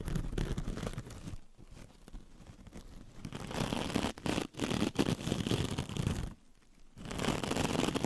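A hand-sized sponge with a metallic scouring mesh surface, held in the hand, is scratched and rubbed with long red pointed nails. The result is a dense, crinkly scraping and crunching texture with brief pauses where the rubbing stops.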